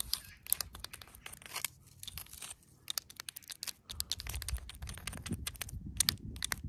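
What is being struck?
Weathered stone rock.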